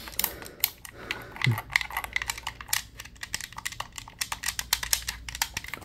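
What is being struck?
Plastic game controller.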